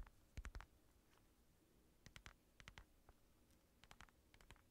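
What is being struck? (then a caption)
Padded synthetic leather boxing glove. Fingertips tap and scratch the padded curve of an empty black synthetic leather boxing glove with red lining. Soft, dull taps arrive in short clusters, with a deep low thump under brief bright scratchy edges. Each touch dies away almost instantly into quiet.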